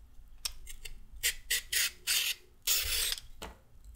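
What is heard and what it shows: A single solid, whole raw orange carrot, held in one hand, is scraped lengthwise with a handheld peeler that has a red/pink plastic handle and a metal blade, taking off thin peel strips while other carrots lie still on a wooden table. A series of bright, rasping scrapes is heard, starting with faint short strokes and building to longer, louder strokes, with a quiet hiss between them.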